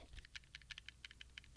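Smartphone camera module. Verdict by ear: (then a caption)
Loose. A Pixel 6 Pro smartphone is shaken, producing about ten quick, dry, high-pitched clicking rattles from its camera module. The rattle comes from the camera's voice coil motor and is considered normal.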